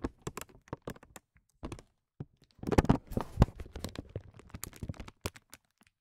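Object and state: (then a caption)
Acrylic bead. A single small, round, solid acrylic bead of iridescent clear plastic rests on a felt mat and is tapped and nudged with short fingernails and fingertips. The result is a string of quiet, dry clicks and soft taps that die away almost at once. They come in quick clusters with brief pauses, with a denser burst of rubbing and clicking near the middle.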